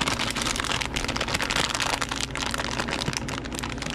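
A medium Haribo Happy Cherries bag of thin printed plastic film, full of gummy candies, is squeezed and crinkled by nitrile-gloved fingers and then torn open, with the gummies staying inside. The sound is a dense, continuous, bright crackling rustle with a fairly steady level throughout.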